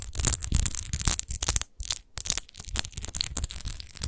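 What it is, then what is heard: Textured glass bottle. Long acrylic nails scratch and tap quickly over a large, textured, hollow and apparently empty glass wine bottle with a rose-shaped relief base, lying on a fur rug. Dense, bright scraping and clicking rushes on with dull low knocks underneath, pausing briefly near the middle before resuming. The taps stop dead with no ringing.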